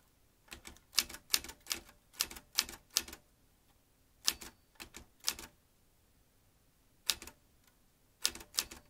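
Fingertips slowly type on the round keys of a vintage metal manual typewriter, producing eighteen sharp, bright clacks in uneven bursts separated by quiet pauses. Each key strike is crisp and dies away almost instantly, with very little low end.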